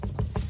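Three dull, low taps on the bottom of a sourdough loaf give a soft, muffled thud with almost no ring, not hollow. The loaf isn't baked through, so it goes back into the oven.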